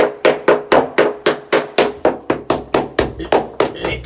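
A hammer taps repeatedly on wall plaster higher up a wall, about four hits per second, each giving a short, hollow, papery knock with a midrange tone that dies away quickly. The hollow response shows the plaster is all blown, coming away from the wall where it has been soaked by a long-running leak.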